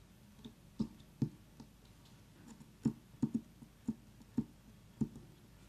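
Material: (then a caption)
Pumpkin rind. Long nails tap and click on the hard rind of a very small, whole orange pumpkin while an essential-oil diffuser runs nearby. The irregularly spaced taps are short and dry, with a low, slightly hollow knock that dies away almost instantly. A faint, steady hiss sits underneath.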